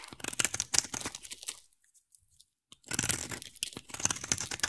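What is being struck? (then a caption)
Bar of soap shaved with a knife blade. A utility knife blade scrapes a solid, hand-sized oval bar of teal soap held in one hand, shaving off curls. Dense, bright, crunchy scraping rasps along in quick strokes, stops for about a second, then starts again just as crisply.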